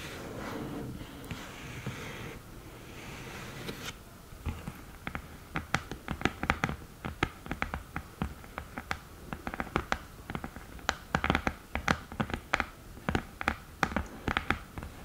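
Long nails tap the top of an open, flat cream cardboard eyeshadow palette and the mirror in its lid. A soft, steady rustling noise in the first few seconds gives way to many quick, dry, bright taps in an uneven rhythm. Each tap stops almost at once.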